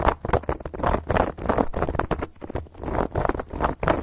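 Long gold metal claw nail caps scratch across a round, flat, solid cork board. A rapid run of dry, muffled scratching strokes rises and falls in short bursts, with a soft, dull tone and little brightness.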